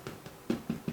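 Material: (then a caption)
Pastry. Five light taps on the golden-brown pastry top of a spam and egg pie, just out of a 180-degree oven after 35 minutes. Each tap gives a short, dull, hollow knock that fades almost at once, showing the pie is cooked through.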